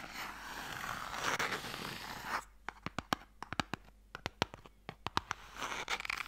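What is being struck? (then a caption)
Light wooden box with sticks inside. A long, narrow, hollow light wooden Mikado box with a sliding lid and sticks inside is scratched and tapped with long nails and fingertips. A steady, dry, bright scratching runs for about two seconds, then gives way to a quick series of sharp, clicky taps with almost no ring, before the scratching returns at the end.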